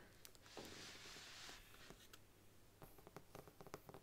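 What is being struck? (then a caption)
Faux leather covered book. A large brown faux leather Bible stands upright on a wooden table while long nails scratch and tap its embossed front cover. A broad, bright scratching swell in the first half gives way to a run of quiet, short, irregular taps.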